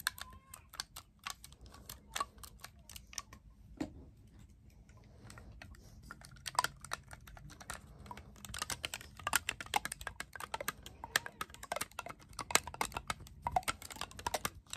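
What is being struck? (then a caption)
Clarinet with metal keys. Fingertips and nails rapidly press and tap the silver metal keys and rings on a black clarinet body. The result is a fast stream of short, dry, bright clicks that die away almost instantly over a faint low hum. The tapping is sparser at first and grows denser and louder in the second half.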